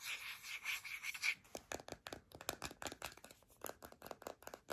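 Long nails scratch and tap a filled white plastic deodorant stick. A continuous bright, raspy scratching comes first, then breaks into an irregular run of short, crisp taps and scrapes with almost no low end and very little ring.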